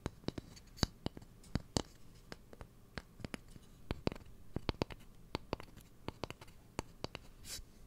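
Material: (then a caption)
Wood. Fingernails tap and scratch along the bowl and handle of a long, light, solid wooden cooking spoon. Many short, sharp clicks with no ring are scattered irregularly across the clip, separated by soft, dry scratching. A few brief, brighter rasps stand out between the taps.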